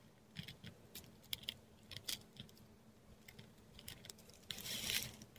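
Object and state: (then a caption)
Textured paper scratched by a dip pen. A metal dip pen nib writes Thai letters in ink on a flat, textured Korean paper sheet, heard close up. Short, bright scratchy strokes come in quick bursts over a faint low hum. A longer, denser scratch builds near the end.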